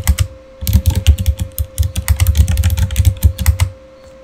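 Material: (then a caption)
Plastic. Fingertips type a quick, uneven run of keystrokes on a Razer mechanical keyboard with plastic keycaps and RGB backlighting, producing deep, thocky clacks with short bright clicks on top and a faint steady tone underneath. Near the end the typing stops as one hand comes to rest, leaving only quiet background.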